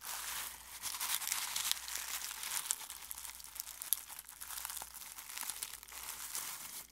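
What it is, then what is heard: Dried rose petals being crumpled. Fingertips pick up, crumple and rub dry rose petals in a clear glass bowl. The result is a steady, quiet, bright crinkling and crackling with irregular small crisp bursts and no low-end body.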